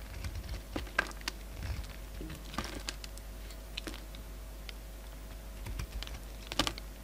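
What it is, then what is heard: Bar of soap being shaved. A solid peach bar of soap, held in the hand, is shaved and cut with a utility knife blade. Many short, crisp scraping and clicking cuts sound over a steady low hum. The loudest snaps come near the start and the end.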